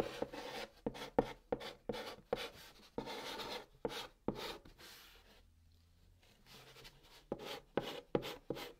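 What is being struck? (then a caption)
Chalk on a cardboard box lid. A white chalk stick held in the fingertips writes Korean letters on the hollow top of a large, flat brown cardboard box. Short, dry scratching strokes follow one another in quick bursts with a slightly papery, hollow tone. A quiet pause falls mid-clip before the strokes resume.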